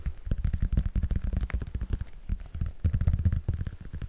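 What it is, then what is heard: Laminated cardboard book cover. Fingertips and nails rapidly tap and scratch the glossy printed cardboard cover of a thin "Frosty the Snowman" laminated children's hardcover picture book held close to the mic. The result is a dense run of short, dull, low thumps with faint scratchy texture, each dying away almost at once.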